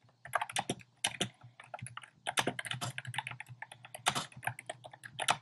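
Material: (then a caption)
Plastic. Fingertips type steadily on a compact plastic mechanical keyboard with a black plastic case and round pastel plastic keycaps. It makes a rapid, uneven run of short, bright clacks with brief pauses between bursts. A faint low hum stays underneath throughout.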